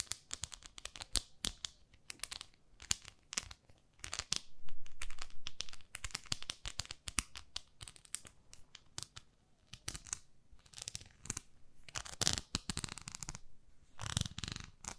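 Long nails scratch the textured face of a small pink plastic facial cleansing brush pad. The result is an irregular stream of dry, crackly scratches and crinkling bursts with bright high hiss, briefly swelling louder near the middle and end.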